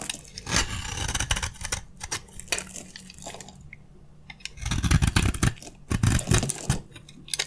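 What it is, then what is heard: Dry soap bar scraped with a blade. A utility knife blade scrapes shavings off a solid, hand-sized, dry beige soap bar with gold edges, making dense, dry, crackly scraping in quick bursts. The sound is heavy in the low end with bright crisp edges and drops to near silence for about a second midway before the scraping resumes strongly. Shavings are cut away from the bar.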